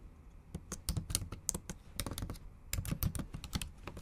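Long acrylic nail tips type fast on a MacBook Pro keyboard with black plastic keys set in an aluminum body. About fifteen sharp, dry clicks come in uneven bursts, each with a bright tick over a soft low thud. Every click dies away almost instantly, leaving a quick, clattery rhythm.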